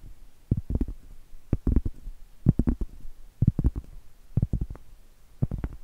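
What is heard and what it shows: Long acrylic nails scratch the face of a round, flat, solid cork trivet held upright. Short clusters of dull, muffled scrapes recur about once a second, low and soft with no ring.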